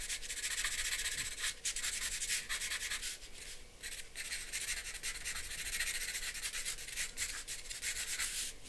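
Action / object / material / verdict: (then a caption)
scrape / charcoal pencil scratching on a paper sheet / paper / none. A charcoal pencil shades and scratches in short strokes across a flat white drawing paper sheet resting on a board. The result is a steady, bright, dry scratching and rubbing hiss with little low end, dipping briefly between strokes before continuing.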